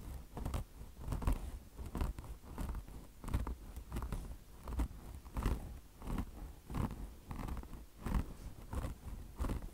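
Long blue nails scratch the mesh top of a mesh-covered microfiber car wash sponge in repeated, unevenly timed strokes. Each stroke gives a short, dry, crunchy rasp with a low rumbling body and faint bright streaks, fading quickly between strokes.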